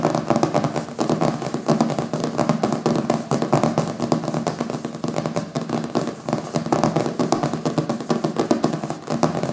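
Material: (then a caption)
Paper, board. Fingertips and nails quickly tap and scratch over the glossy back cover of a thick hardcover book with a printed paper cover, which lies solid on a wooden table. A dense, continuous stream of short, crackly taps and scrapes is heard, with a warm low-mid body and little high-end brightness.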